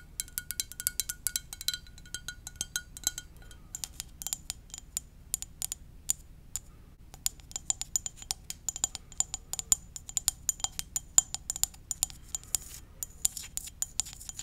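A ceramic mug shaped like a VW van is tapped gently with the fingers. It makes a dense run of quick, light, bright clicks with almost no ring over a faint low hum. Early on the taps carry a short tonal chime, and later they grow sharper and more scattered.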